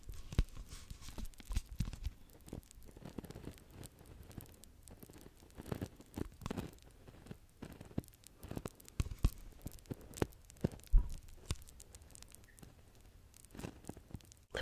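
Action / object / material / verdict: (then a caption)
tap / plastic bottle partly filled with liquid / plastic / none. Fingertips and short nails tap and scratch the sides and label of a clear plastic micellar water bottle with a pink cap, partly filled with liquid. Dense, quick, dull taps mix with scratchy, crinkly rustles of the label, mostly low-toned with brief bright ticks. The taps die away almost at once and come in irregular bursts throughout.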